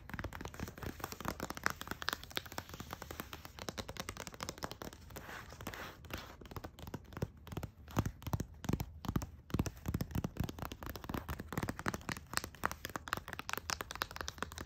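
An empty, large flat pink paper gift bag lying on a fluffy rug is tapped and scratched with long acrylic nails and fingertips. The result is a rapid, steady stream of short, dry papery taps and crinkly scratches with no ring, continuing throughout the clip.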